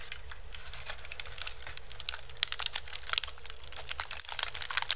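Fingertips and nails scratch and crunch the weave of a small, hollow, empty basket made of pink-painted woven bamboo strips, resting upside down on the microphone. A fast, dry crinkling and crunching is heard, full of sharp, bright clicks that die away instantly, over a faint low rumble.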